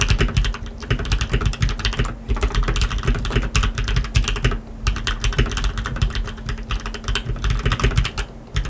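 Two hands type continuously with their fingertips on a black tenkeyless RGB mechanical keyboard with lubed linear switches and plastic keycaps. The result is a dense, rapid stream of short, muted, low-heavy clacks that die away quickly, with only a little bright click on top. The typing eases briefly at about 2 and 4.7 seconds.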